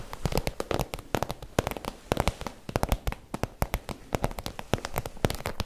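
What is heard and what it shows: Long nails tap and scratch the front of an iridescent holographic PVC zip pouch, hollow and empty-looking, while hands crinkle the plastic. Dozens of quick, sharp, dry clicks land in an uneven run over a soft crackling rustle, each tap dying away almost instantly.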